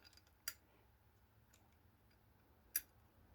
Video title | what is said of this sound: Peugeot XD engine oil pumps refacing there housings and end covers. | Maar die is een as beter. It's tight.